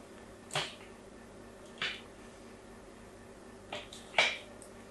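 A solid rectangular pink bar of soap, held in the hand with other soap bars lying nearby, is scored and scratched with a pointed metal nail tool. Five short, bright scraping strokes come through against a quiet background, each with a brief high hiss that fades quickly. The last stroke is the loudest.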